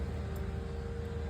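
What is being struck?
Nothing is struck.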